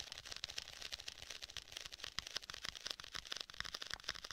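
Fingertips tap across the surface of a black faux leather folio tablet case with white stitching and a strap clasp, held closed and flat over a rigid board. A quick, uneven run of soft, dry, hollow-sounding taps is heard, mostly bright and high with very little low end and no ring after each tap.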